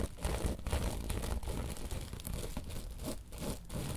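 Long nails scratch and tap across a woven tapestry bolster pillow, switching between fast and slow strokes. The sound is a steady, dense crinkling rasp with soft muffled thumps underneath, most of its weight in the low range and only faint bright grit on top.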